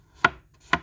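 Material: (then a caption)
Paper. A sheet of thick 140-pound cold-pressed rough watercolor paper from a watercolor pad is flicked twice, giving two crisp, bright papery snaps that fade quickly. This sound marks it as the thick paper you want, rather than a thinner 90-pound paper.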